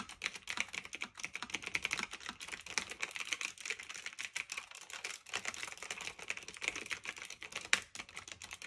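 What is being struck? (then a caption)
Typewriter-style mechanical keyboard, plastic and metal. Both hands type continuously with their fingertips on a black retro typewriter-style mechanical keyboard of plastic and metal with round keycaps, resting on a fluffy blanket. Rapid, dense, bright clicky keystrokes with almost no low end patter on without letup, apart from a brief dip just before the five-second mark.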